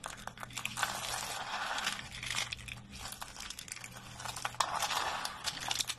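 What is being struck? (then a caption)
Soap flakes crumbled by hand. A heap of pale green dry soap flakes is scooped, squeezed and crumbled by both hands. The result is a dense, dry, crackling crunch with bright crinkly detail that swells and eases in waves over a faint steady low hum.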